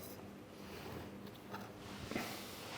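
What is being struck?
Nothing is struck.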